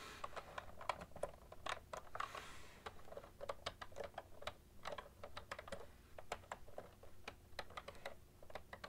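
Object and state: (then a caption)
Plastic computer keyboard. Both hands type steadily on a full-size, cream-coloured plastic ergonomic keyboard with hollow plastic keys, tapping with long nails and fingertips. The result is a quick, uneven stream of short, dry plastic clicks and clacks with no ring. A low, steady background hum sits underneath.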